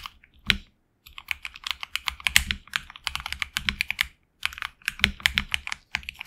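Fingertips type continuously on a HyperX Alloy Origins Core tenkeyless mechanical keyboard with HX Red switches, PBT plastic keycaps on an aluminum plate, a hollow case, and lubed switches and stabilizers. Quick, bright plastic clacks centered around 2 kHz come in dense runs, with brief pauses near 1 second and 4.3 seconds. Each keystroke is short and dry, with almost no ring and little low end.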